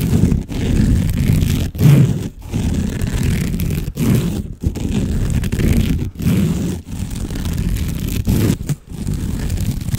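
Fingernails scratch fast and hard at a long cylinder covered in woven jute or sisal rope, like a cat scratching post, held in front of the microphone. The result is dense, low, rough scraping and rustling in steady bursts, broken by short silent pauses.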